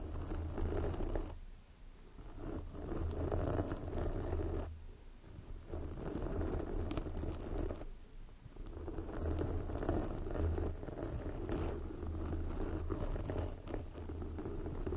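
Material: Foam.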